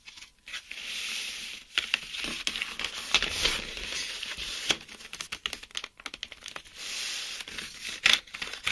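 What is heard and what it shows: Fingertips and short nails tap and scratch across a hand-sized, card-backed clear plastic blister pack holding 10 colored mechanical pencils under hollow blister bubbles, while the pack is held and turned. The result is a dense, bright stream of crinkling, scratchy rustles with quick, sharp taps and almost no low end.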